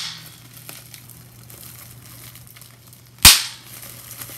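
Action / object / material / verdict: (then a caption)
tap / plastic bubble wrap / plastic / none. A single bubble on a clear plastic bubble wrap sheet is pinched and popped with the fingers. The result is one sharp, bright snap at about 3.2 seconds that dies away within a fraction of a second. Before and after it are only faint plastic rustles over a steady low hum.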